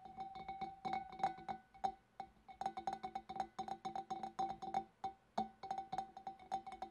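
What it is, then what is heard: Glass fish bowl tapped with nails. Long dark nails tap the front of a large, clear, empty glass fish bowl, then its wavy rim, in a quick, irregular run of light clicks. Each tap gives a short glassy ping centered near 780 Hz with faint bright overtones, and the ping dies away almost at once.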